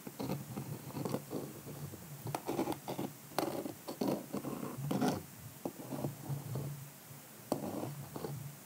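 A pink calendar block is rubbed and scratched across the rhinestone brooch of a small, hollow, egg-shaped hard-shell clutch purse with a cream shimmery covering. It makes a quick series of dry, gritty scratching and rubbing bursts, mostly low and mid in tone, with occasional sharp, bright clicks as the block catches on the stones.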